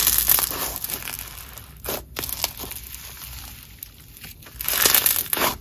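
A red, grainy crunchy snow fizz slime is stretched into lacy sheets and squeezed into a ball with both hands. It gives off dense, bright crunching and crackling that is loudest at the start and end, with quieter crinkling pops in the middle.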